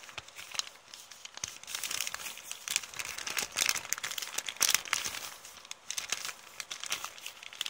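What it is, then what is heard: Paper shopping bag being scratched and crumpled. An empty printed kraft paper shopping bag with blue print is scratched with long nails, then scrunched up in both hands. Bright, dry crinkling and crackling come in dense bursts, with sharp snaps and almost no low end. The paper noise rises and falls as the bag is worked.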